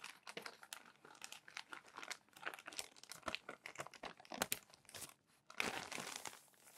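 Crumpled glossy magazine pages are rubbed flat with the palms and turned with the fingers. The result is dense, bright crinkling and crackling with quick sharp snaps and almost no low end. After a brief quiet moment, a louder, fuller rustling swell closes the clip.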